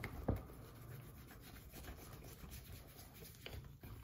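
Gloved fingertips rub cream into the upper of a hollow brown leather derby shoe resting on a counter. A soft, continuous, low-pitched rubbing and faint scratching runs throughout, with a brief louder bump near the start.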